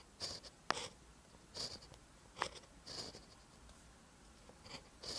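A ballpoint pen tip writes scratching strokes on a lined paper notebook page. Short bursts of bright, hissy scratching come and go between quiet pauses, with a couple of sharp little ticks as the pen meets the paper.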